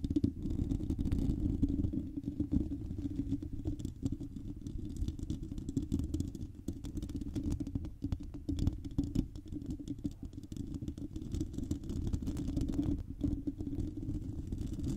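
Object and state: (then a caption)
Metal mesh microphone grille. Long painted nails of both hands scratch directly on a hand-sized, hollow, silver metal wire-mesh microphone grille. The result is a dense, continuous, muffled scratching and rumbling that stays low and boomy for the full fifteen seconds, with a steady hum-like band near 277 Hz and almost no bright content.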